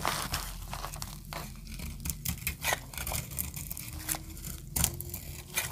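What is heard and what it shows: A snap-off metal blade scrapes and cuts a solid green oval bar of dry soap held in the hand, and brittle flakes crumble off. Quick, dry scraping and crackling bursts come one after another, each dying away almost at once, with bright, crisp edges over a low muffled rumble.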